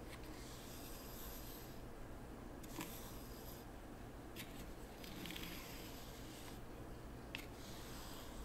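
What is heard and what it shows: A hand with painted nails pushes and drags a small wooden T-shaped rake through fine white sand in a small wooden zen garden tray, scraping and flattening the raked lines. Quiet, continuous gritty rasping swells in bright hissy bursts over a steady low hum, with a few faint sharp ticks.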